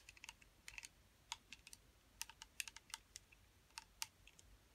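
Long metallic acrylic nails tap and scratch the lid and sides of a small, round, clear blue plastic putty container, sealed and full, held in both hands. The result is a quiet, irregular run of crisp, bright plastic clicks with almost no ring or low-end body, punctuated by faint scratchy ticks.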